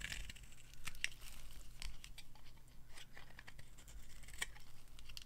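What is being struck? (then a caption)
Bar soap cut with a knife. A hand-held, hand-sized solid green bar of dry soap with a dark coating is carved with a metal knife into crumbly chunks. Quiet, dry scraping and crunching cuts come in a steady run of short, bright crackles over a low background hum.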